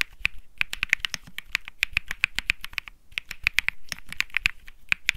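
Fingertips type continuously on a white mechanical keyboard with plastic keycaps, a Think 6.5 with Bsun Lollipop keycaps. The crisp, bright clacks come in a quick irregular stream with very short decay, each keystroke separate, and a light low thump sits under the sharp high clicks.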